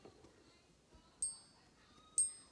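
A Canadian Maple Leaf gold coin is gently tapped on a surface for a ping test, giving two separate bright, high ringing pings that fade out over a moment. The coin, which had already passed a neodymium magnet test, is judged to be real gold.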